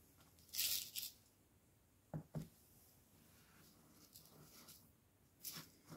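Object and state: Plastic jar of loose tea.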